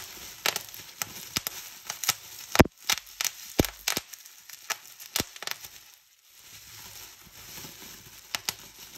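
Fingertips squeeze a strip of bubbles on a clear plastic bubble wrap sheet, popping them in an irregular string of sharp, bright snaps over soft crinkling. One pop near the middle is especially loud, and after a short quiet pause the plastic rustles faintly before two final pops.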